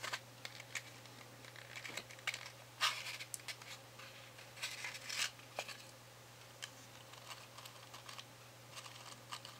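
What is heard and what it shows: A small, hollow cardboard matchbox full of wooden matches is held in the fingertips while its inner drawer is slid open and the matches are fingered and pulled out. The result is quiet, bright, irregular scratches, rustles and light clicks, with a few louder scrapes over a steady low hum.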